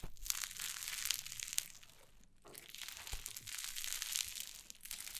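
White cloud slime on a wooden table is crumbled, squeezed and pressed with fingers and long nails, making a dense, bright crackling and crinkling with many tiny snaps. The quiet, close texture eases into a brief lull near the middle before the crunchy crackle resumes.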